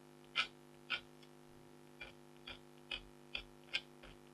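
A red-handled stylus scratches a flat, thin scratch art sheet with a black coating over a metallic layer and a tiger design, lying on fabric while a hand with long blue nails holds it. Eight short, bright scratching strokes come at uneven intervals over a faint, steady background hum. Each stroke dies away almost at once.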